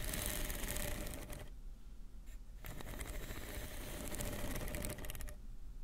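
Long painted nails scratch and tap with both hands along the ridges of a hollow, blue corrugated plastic pop tube toy, about forearm length, lying on a dark fabric surface between two microphones. Dense, bright ridged rasping fills the first second and a half, drops to a quieter lull, then returns as rapid, uneven clicking scratches until the end.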